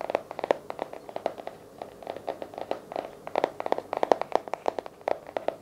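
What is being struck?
Hardcover journal.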